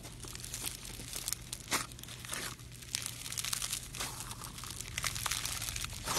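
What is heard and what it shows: Pink floam, a slime filled with styrofoam beads, is squeezed in the fist and pulled apart with the fingers. It produces dense, bright crinkling and crunching pops that run continuously over a faint steady low hum.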